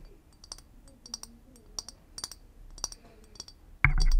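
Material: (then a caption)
Glass. Long acrylic nails tap and click on the round, textured body of a clear glass liquor bottle with a wooden-topped cork, held in hand. Irregular, sharp, bright clicks are heard, about 15 of them, each dying away almost instantly. At the very end, a louder, fuller burst of noise takes over.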